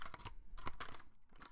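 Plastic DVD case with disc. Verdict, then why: Loose. A plastic DVD case is shaken with its loose disc rattling inside. Quick, dry clicks and clatters come in bursts with a tone near 1 kHz, each dying away almost at once.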